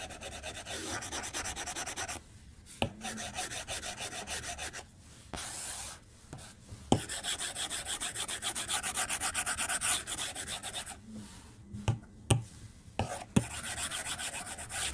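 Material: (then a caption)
Glass. The plastic tip of a white stylus, held in the hand while drawing, strokes and taps the glass screen of an iPad-style tablet lying flat on a desk. Bursts of fast, rhythmic scratchy rubbing alternate with short quiet pauses. A few sharp, clicky taps stand out between the strokes.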